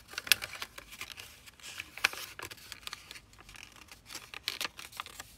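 Fingertips and nails pinch, fold and run along the creases of a small, thin, flat sheet of zebra-pattern origami paper with layered folds, rubbing the paper. The result is a quiet, irregular string of dry, crisp crinkles and scratchy rustles, almost entirely bright and high with very little low end. A few sharper crackles stand out above the soft, continuous friction.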